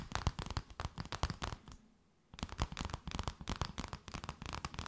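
An empty transparent plastic bag is crinkled and tapped with long nails, giving a rapid run of sharp, crisp taps and rustles with a low, dull body. The tapping stops for about half a second near the middle, then resumes at the same quick pace until the end.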